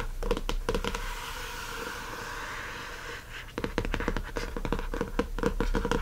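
Fingertips and nails of both hands rub and scratch the glossy laminated board front cover, printed with a watercolor design, of a hardcover spiral notebook lying flat on a fluffy rug. Quick dry scratches give way to a steadier, softer rubbing hiss through the middle. Then a rapid, uneven run of sharp nail scratches and taps follows to the end.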